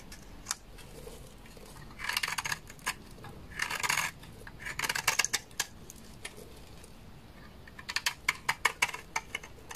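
A utility knife blade scrapes a large, solid, beige bar of dry laundry soap, with shavings piling up below it. Bright, crisp scraping comes in short bursts with quiet gaps between them. It ends in a run of sharp, dry clicks and crackles.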